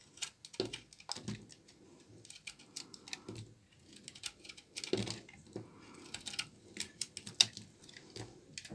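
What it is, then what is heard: Dry laundry soap bar. A knife blade shaves brittle flakes off a solid bar of dry, old brown laundry soap held in the hand, and the flakes pile up on the table. Each stroke makes a short, dry, crisp scrape, mostly high and bright, with little low end. The scrapes come in irregular bursts, with soft crumbling rustles between them.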